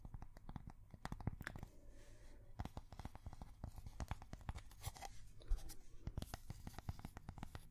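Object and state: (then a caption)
Cork coaster. A thin, solid square cork coaster is held next to the microphone and tapped and scratched with long fingernails. Rapid, dry clicks and crunchy scratches come in a dense, uneven stream, each hit short with almost no ring and a low, muffled body.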